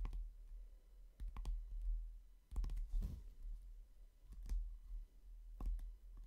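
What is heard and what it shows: Fingertips and short nails tap on the glossy cover of a hardcover book, producing scattered, dry clicking taps with bright transients over a low, rumbling background. The taps come at an uneven pace, some isolated and some in quick clusters, and decay almost immediately.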